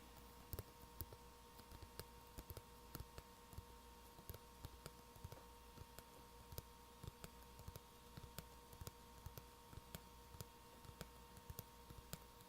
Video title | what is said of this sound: [ASMR] Soft Spoken Ramble, Light Tracking, Soft Tapping and Creepypasta Reading | makes it pretty good tapping noise I guess